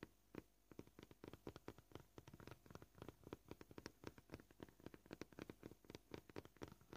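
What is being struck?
Plastic cutting board.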